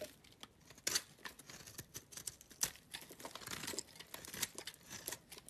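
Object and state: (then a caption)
Soap bar being carved. A utility knife blade scrapes curls off the face of a small, solid, oval green soap bar held in the hand. The result is a run of quick, dry, crackling scrapes that are bright and high with almost no low end, rising and falling in short rough bursts with a few sharper strokes standing out.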